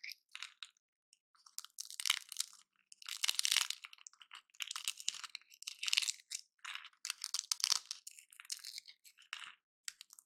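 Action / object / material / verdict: scrape / dry pine bark chunk / pine bark / none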